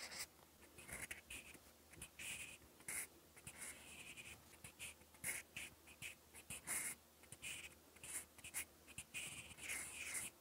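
A mechanical pencil with a fine metal tip scratches across a lined cream paper notebook page while writing. It makes quick, bright, dry scratching strokes in short bursts, centered around 2 kHz with a hissy high edge, each stroke stopping abruptly with almost no ring.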